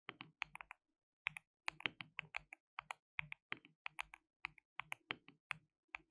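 Fingertips type rapidly on a white RGB-backlit mechanical keyboard with plastic keycaps, a compact layout and a hollow case. About 29 crisp, bright clacks come in quick bursts separated by short pauses. Each keystroke is dry and dies away almost instantly, with its tone centred around 2.3 kHz and very little low end.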